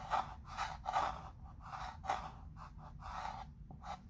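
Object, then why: Chalk pencil on wood-framed chalkboard. A chalk pencil traces letters across the surface of a flat wood-framed chalkboard while the other hand holds the frame. The result is a series of soft, breathy scratching and rubbing strokes, each a short burst of mid-range hiss centered around 800 Hz. A faint low rumble sits underneath throughout.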